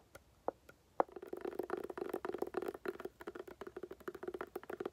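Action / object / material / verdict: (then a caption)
tap / woven-covered hard glasses case / woven fabric / none. A tan woven-covered hard glasses case, held upright and hollow, is tapped and scratched with long nails. A few separate quiet taps with a hollow, mid-pitched knock open the clip, then give way to a fast, continuous run of scratchy tapping and scraping on the woven surface.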